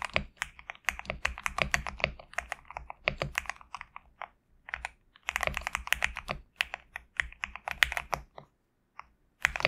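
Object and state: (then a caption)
Mechanical keyboard with PBT keycaps. A GMK67 compact mechanical keyboard with a black case and white/cream PBT plastic keycaps is typed on continuously with the fingertips of both hands. Quick, bright clacking keystrokes come in bursts separated by short pauses. Each press is a short click that dies away at once over a faint low hum.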